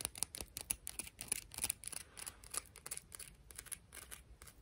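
A piece of coral is tapped and scratched, making a quick, irregular run of short, dry clicks and scrapes. The sound is bright and crisp, with almost no ring after each contact.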